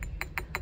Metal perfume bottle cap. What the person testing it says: cái nắp của chai thật nó làm bằng kim loại